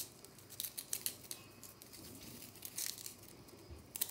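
Long nails scratch and flick at a small, solid, round pink-white compressed powder bath bomb, breaking it apart with crumbs falling. The sound is quiet, dry and bright, with crisp scratching rasps and sharp crumbly ticks that come in short bursts over a soft hiss.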